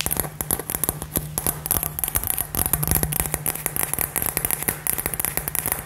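A hand-sized, hollow, light-up glass LED globe filled with gold glitter is held up and tapped and scratched with long fingernails. Dense, rapid clicking and crackling taps with a bright, glassy edge run over a low hum. The taps are too close together to count.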